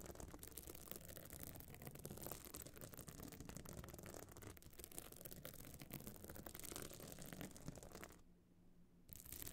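Long nails scratch across the surface of a small, hard, metal-frame clutch bag covered in glued stone chips, standing open. Dense, gritty scraping and crackling runs almost without pause, then drops to near silence just after the eight-second mark and returns briefly at the end.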